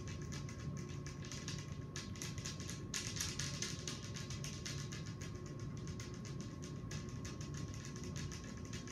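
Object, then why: Glass table top. Very long acrylic nails on both hands, with many metal rings, tap rapidly on a large, round, clear glass tabletop made of a thin, solid pane. The result is a dense, steady stream of sharp, bright clicks over a constant low rumble and a faint, steady high tone, with the level holding even throughout.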